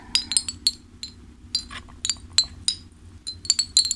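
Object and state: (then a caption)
Ceramic fish wind chime clinking. A hanging ceramic fish wind chime, with a clay bell-shaped top, fish-shaped ceramic pieces and bead strings, is held up and shaken and flicked by hand so the pieces clink together. Bright, high, glassy clinks come in quick scattered bursts, each dying away almost at once, over a faint steady background.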